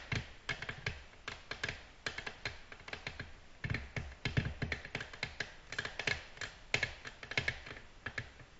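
Long natural nails from both hands tap a flat, solid, glossy black glass tabletop in dense, fast nail-tip tapping. The result is a quick, uneven stream of short, sharp clicks with bright ticks over a soft low thump, each dying away almost at once.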